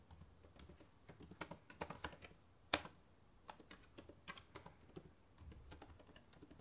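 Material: Plastic.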